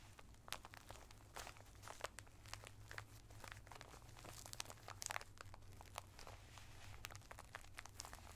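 Flat fingertips press and rub a sealed clear plastic bag full of colored tissue paper squares, with a cardboard header, lying on a towel. The bag gives a quiet, continuous stream of dry crinkles and bright, sharp crackles. A steady low hum runs underneath.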